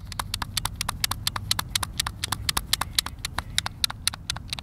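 A hand-sized, hollow white plastic Xbox controller is held in both hands while thumbs and fingertips repeatedly press and tap its face buttons. About 33 short, bright, dry clicks come in a quick, uneven stream over a soft low rumble.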